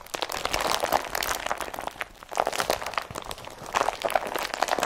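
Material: Polypropylene.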